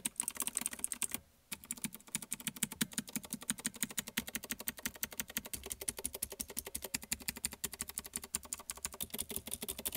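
Fingertips press and tap the keys of a small black plastic one-handed mechanical gaming keyboard with Outemu blue clicky switches and a wrist rest, resting on a white table, first typing with two hands and then with one. A fast, uneven stream of sharp, bright clicks with a hollow plastic clack underneath, broken by a brief pause early on.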